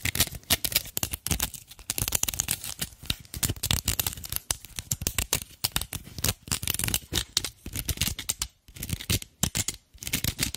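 Long black acrylic nails scratch and scrape a hand-sized cylindrical dried natural loofah, porous, fibrous, firm but hollow-cored, mounted on a wooden handle. Dozens of quick, dry, crackling strokes follow one another in rapid bursts, bright and crisp with a light low thump under each. The scraping keeps a steady, brittle rasp throughout, pausing only briefly between runs.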